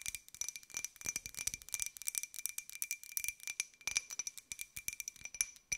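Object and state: Ceramic jar tapped with fingernails.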